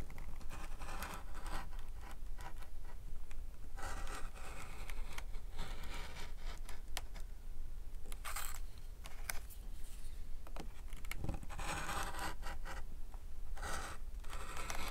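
A metal groover tool scrapes and scratches a line into the back side of a flat leather knife sheath while fingertips hold the leather down. Repeated dry scratching bursts, some brighter than others, sit over a steady low rumble throughout.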